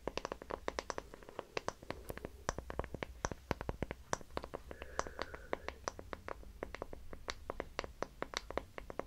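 A small, light, solid wooden hexagonal block, gripped in both hands, is scratched and tapped with fingernails. The result is a quiet, steady stream of crisp, dry clicks and taps that die away almost instantly, over a low background hum, with a short scratchy stretch around the middle.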